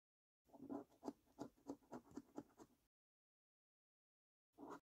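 A coin scratches the latex coating off the maze panels of a thin-card Diamond Maze scratchcard resting on a dark table. It makes a quick run of short, dry rasping strokes, then a pause before one final scrape.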